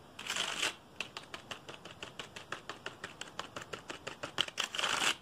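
Fingertips rapidly tap and rub across the keys of a black plastic computer keyboard held upright. A bright, hissy rubbing burst opens and closes the clip, with a quick run of sharp, clicky key taps in between.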